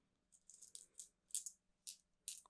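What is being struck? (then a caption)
Small painted stones in a cloth bag. A wrapped bag holding small stones with symbols painted on them, rune stones, is shaken and felt. It gives several short, quiet, bright rattling bursts of clicking stones, almost entirely high-pitched with no low end.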